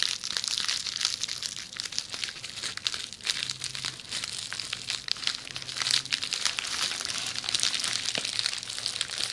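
Long nails scratch and crinkle a rolled tube of red plastic bubble wrap held beside the microphone. The result is a steady, dense stream of bright crinkling and crackling with sharp ticks throughout and almost no low end.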